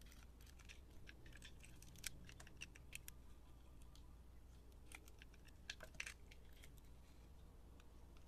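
A utility knife blade scrapes and carves the surface of a solid, hand-sized bar of blue and pink glitter-speckled soap held in the hand. The sound is a quiet, steady run of short, crisp, bright scraping clicks and crunches, with a few sharper snaps, over a constant low hum. Each cut stops almost instantly, with no ring.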